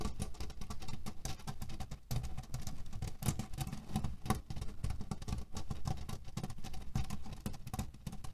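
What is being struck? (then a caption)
Cotton pillow filled with cherry pits. Fingernails scratch and tap quickly on a cotton canvas pillow filled with cherry pits, producing a dense, continuous patter of soft rattling clicks. The sound is heavy in the low end, with fast, rustling taps that keep a steady level throughout.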